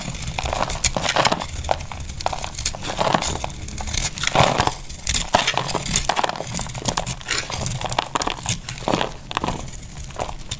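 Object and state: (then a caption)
Dry bar soap. A solid, oval, cream-coloured bar of dry soap is held in the hand and carved with a utility knife blade, so crumbly chunks break off. The blade makes a steady stream of dry, crisp crunching and crackling scrapes with short bright snaps and a low rumbling undertone.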